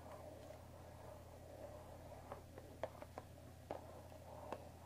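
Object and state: Cardboard tea box.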